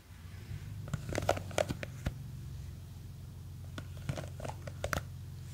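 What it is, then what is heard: Plastic jar of gel beads. Long green fake nails scratch and tap the sides of a small clear plastic jar with a white lid, full of blue gel beads. Sharp crinkly scratches and clicks come in irregular bursts over a steady low hum.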